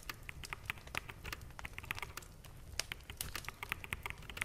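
Fingertips of both hands type on a full-size black mechanical keyboard with plastic keycaps, producing a steady run of short, crisp, bright clacks with almost no ring. A faint low rumble sits underneath throughout.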